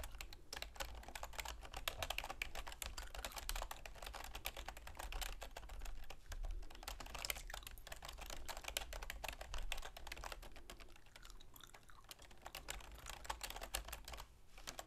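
A full-size black plastic computer keyboard with a silver plastic frame sits on a wooden desk and is typed on rapidly with long manicured fingernails and fingertips. A dense, continuous stream of short, bright plastic clicks and taps rolls on for the whole clip, with a steady low hum underneath.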